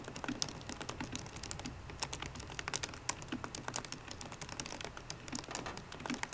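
Fingertips and painted nails of both hands tap the black plastic keys of a solid 13-inch silver aluminium MacBook Pro keyboard. A quick, steady stream of short, crisp clicks with bright tops and a soft low thud under some strokes is heard, each dying away almost instantly. The result is quiet, continuous typing with no other sounds.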